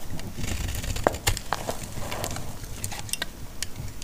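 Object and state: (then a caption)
Dry bar of soap. A solid, dry yellow bar of antibacterial laundry soap is cut and scraped with a utility blade, and crumbs fall away. The scraping gives a steady, dry crackle over a low rumble, broken by sharp, bright snaps and a brief tonal click about a second in.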